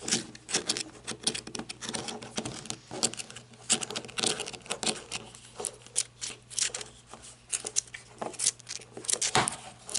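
Long red nails tap and scratch along the ribbed grip of a handheld black rubber-gripped flashlight. Quick, dry, bright clicks and scrapes come in irregular clusters with no ring after each hit, over a faint steady low hum.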